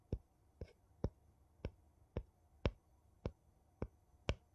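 A thin, flat wooden piece taps and scratches the ridged rim of a gold metal screw lid on a small, empty glass jar. Nine short, dry taps land at irregular intervals, each a quick thud with a faint bright edge that dies away almost instantly. Between them there is only a quiet background.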